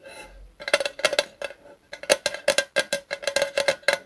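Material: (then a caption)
Metal. A small, hollow, thin-metal Zippo lighter fluid can with a red plastic spout cap is held in both hands and tapped with the fingertips. After a faint, soft start, about twenty quick, light metallic taps follow in irregular bursts. Each tap has a short, dull ring around 530 Hz with a bright, clicky edge.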